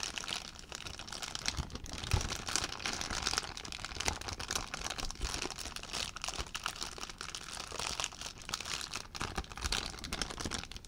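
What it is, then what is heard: Plastic zip bag. An empty clear plastic zip bag is crinkled in one hand, giving a continuous dense crackling that stays steady for the whole clip. The sound is bright and hissy, with sharp crunchy spikes, the strongest near the two-second mark.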